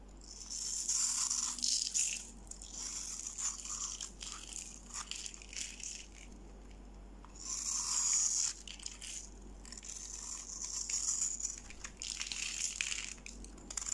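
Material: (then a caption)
Soap. A solid, dry, palm-sized pink bar of soap, held in one hand, is scraped and shaved with a steel utility-knife blade, carving off crunchy flakes. Rapid, bright, crisp scratching and crunching runs throughout, with louder bursts of shaving near the start, middle and end.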